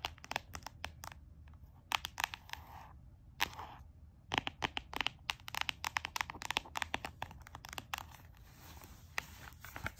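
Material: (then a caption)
Cardboard. A closed small notebook with a solid, leopard-print cardboard cover is tapped and scratched with fingertips and nails. Quick, dry, bright taps come in irregular bursts over soft, raspy scratching, and each tap dies away almost instantly.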